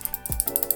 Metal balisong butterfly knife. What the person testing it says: it's going to make a bunch of noise and rattle around when you shake it